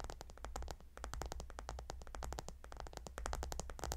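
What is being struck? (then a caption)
Polished gemstone tiles on a heated pillow. Fingernails scratch and tap on the glossy hexagonal stone tiles of a gemstone hot stone pillow. A rapid stream of short, dry clicks and bright scratchy ticks rides over a steady low hum.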